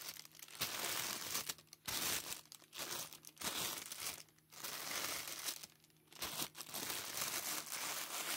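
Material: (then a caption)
Plastic film. An empty, thin, clear plastic packaging bag, soft and hollow, is held in plush-gloved hands while hard black plastic claws crumple and scratch the film. Bright, dense crinkling comes in bursts separated by brief quieter gaps, with almost no low end.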